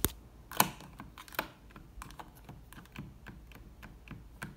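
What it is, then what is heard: Plastic light switch plate. Long red nails tap and flick the toggles of a beige plastic triple toggle switch plate on a textured wall. Sharp, dry plastic clicks with bright tops stop almost instantly, with the strongest ones near the start. Softer, irregular ticks and scratches fill the rest of the clip.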